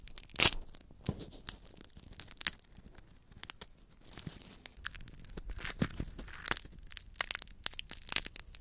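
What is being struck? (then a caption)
Roasted peanut in its shell. A single small roasted peanut in its dry, papery, hollow shell is held close to the mic and crushed, cracked and pulled apart by fingertips until the kernels inside show. Bright, dry crackling and tearing come in quick bursts of sharp snaps with faint crinkling between them, each snap dying away almost at once.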